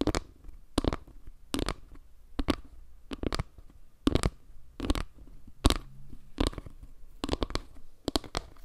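Long nails scratch across a solid, round board made of wood slices, raking over the slices and the dark center while the board is tilted toward the microphone. The result is a series of short, dry, bright scratching strokes at an uneven pace, each dying away almost at once, over a faint low rumble.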